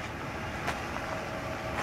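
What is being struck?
Nothing is struck.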